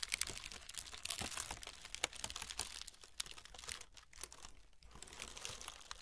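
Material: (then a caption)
Paper. Long nails and fingertips scratch and lightly crinkle the surface of a brown honeycomb kraft paper packing wrap roll, whose paper is layered and hollow. The result is a dense run of quiet, bright, dry crackles and rustles with many sharp ticks and almost no low end.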